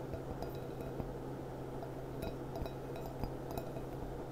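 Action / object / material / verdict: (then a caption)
tap / glass goblet / glass / none. Long dark-painted nails tap the bowl and foot of a small, clear, gilt-rimmed glass goblet with a gold band, which stands hollow and empty upside down on a tablecloth. A few light, bright glassy clinks ring briefly over a steady low hum.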